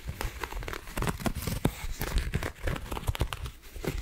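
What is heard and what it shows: A round white coiled cotton rope coaster, flat, solid and soft, is held in both hands and scratched across its textured surface with long acrylic nails. The result is a steady run of short, dry scratching and crinkling strokes, mostly low-weighted with faint bright edges.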